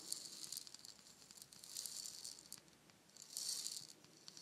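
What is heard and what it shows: A palm-sized, hollow, painted wooden shaker egg is held in both hands, tapped with fingernails and shaken so its fill rattles. Soft, bright, hissing rattles swell in three bursts, with light clicking taps in between. The sound is almost entirely high-pitched with no low end and dies away quickly after each movement.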